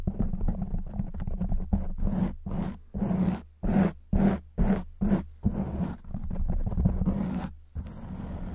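Long white nails scratch a black foam windscreen on a silver microphone, making dense, low, rumbling scrapes with a faint steady hum underneath. The scratching comes in quick strokes, breaking into short separate bursts in the middle before running together again.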